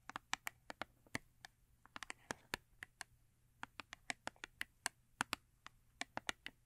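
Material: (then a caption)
Paperboard. Long nails tap and scratch the side panel of a small paperboard Yardley soap box held on its side. About 28 quick, dry clicks sound in an irregular rhythm, each bright and crisp with almost no ring, over a quiet background.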